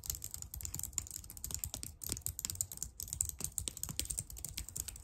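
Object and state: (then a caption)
Plastic computer keyboard. Long dark nails type rapidly and tap on the keys of a very clicky white plastic computer keyboard. A fast, steady stream of sharp, bright clicks with a low thud under each stroke fills the clip, each one dying away almost instantly.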